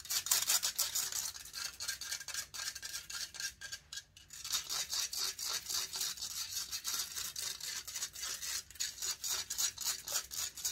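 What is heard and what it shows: Long nails scratch rapidly across the hollow metal mesh grille of a large silver condenser microphone. The result is a dense run of bright, hissy scraping strokes, about four per second, with almost no low end. There is a brief quieter pause around the four-second mark before the scratching resumes.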